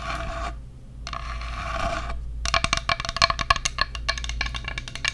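A flat, solid bamboo children's plate shaped like a bear head with ears, about 25 cm and empty, is held up close and worked with long acrylic nails. First come soft rubbing scratches across its surface, then a run of quick, dry, bright taps and clicks that die away almost instantly.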